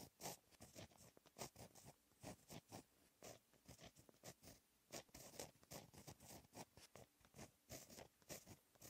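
A blue gel pen held in the fingertips writes Korean text on a flat sheet of black lined textured paper. The result is a quiet, quick series of short, dry scratching strokes with bright, hissy highs and a faint midrange body, separated by brief pauses between strokes.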